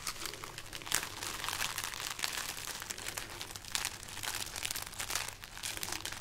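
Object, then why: String of dried red chili peppers. A long string of dried, hollow red chili peppers is held up in one hand and crinkled with the fingers of the other. The result is a continuous dry, papery crackling and rustling, bright and crisp, with sharp crunchy bursts throughout.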